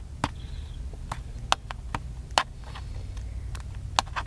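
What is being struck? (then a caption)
Plastic handheld camcorder. Fingertips and nails tap and scratch a small, hollow, black plastic handheld camcorder, making a series of short, dry, clicky taps with a hollow ring around 1 kHz and a bright edge. Soft scratching fills the gaps over a steady low rumble.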